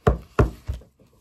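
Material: Wood.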